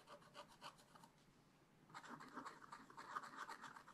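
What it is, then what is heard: Scratch-art paper being scraped. A wooden stylus scratches giraffe spots into a black-coated scratch-art page lying flat in a spiral-bound book. Quiet, dry, rasping strokes come in quick, uneven bursts with a bright, papery hiss. They pause briefly near the middle, then return denser and slightly louder.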